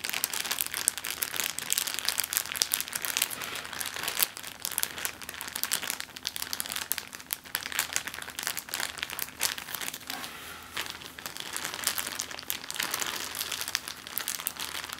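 An empty, medium, thin clear plastic zip-lock bag is crumpled and crinkled with fingertips and long green-painted nails on a wooden table. It makes a dense, continuous run of bright, crisp crackles and sharp clicks, almost all high in pitch with hardly any low end.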